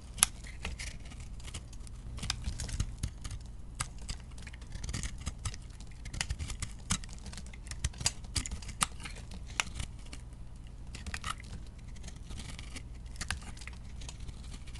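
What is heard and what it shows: A metal blade carves and scrapes shavings off the face of a round, solid bar of chunk soap. Dense, crisp scratchy clicks and short bright crackles repeat steadily over a soft low rumble throughout.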